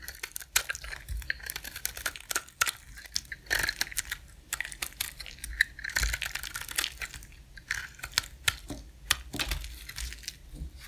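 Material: Soap.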